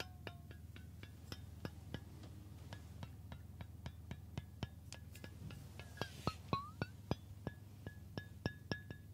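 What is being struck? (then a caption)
Stainless steel water bottle. Fingertips tap the body and flat metal base of a hollow stainless steel water bottle held near the ear. The result is a quick, irregular run of short, dry metallic pings with a faint pitched ring near 1.1 kHz and bright edges. A steady low hum sits underneath, and the taps grow louder toward the end.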